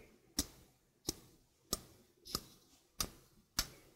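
A stainless steel mesh sink strainer, held close, is tapped on its mesh and rim with fingernails. Six sharp, bright metallic ticks sound at a steady pace, each with a brief tinny ring that fades almost at once into near silence.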